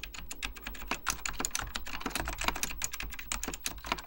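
Fingertips type continuously on a beige plastic full-size Apple Extended Keyboard II, pressing hollow plastic keycaps over mechanical switches. A rapid, steady stream of short, bright clacks with a soft low thud underneath, each keystroke dying away almost instantly.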